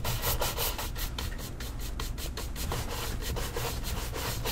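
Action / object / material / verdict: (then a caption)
scrape / leather dress shoe brushed with a horsehair brush / leather / none. A tan leather cap-toe dress shoe with a wooden shoe tree inside sits on a stand and is brushed briskly with a wooden-backed horsehair shoe brush. A steady run of quick, bristly rubbing strokes swishes across the leather, each stroke a bright scratchy sweep over a low, continuous rumble.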